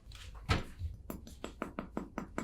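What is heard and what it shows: A charred brown top crust on a heavy bolo bun is tapped about ten times, each tap a short, dry, crisp click with a quick crackle that stops almost at once. A low rumble sits underneath throughout, and the crust sounds crisp and crunchy.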